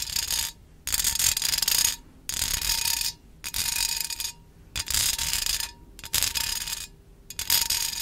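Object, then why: Wire mesh pencil cup. Long acrylic nails scratch and tap the mesh side of a small, hollow, empty wire mesh pencil cup held in one hand. Seven bright, rasping bursts of scratching are separated by short pauses, with a faint metallic ring under the bursts.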